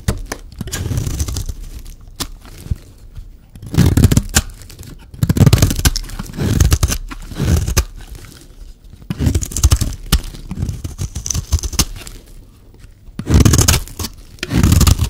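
A solid, rectangular white bar of dry soap is held in the hand and scraped with a metal blade, shaving off white flakes. The recording carries repeated rough, crumbly scraping strokes in uneven bursts, mostly low and dull with a faint bright hiss on top.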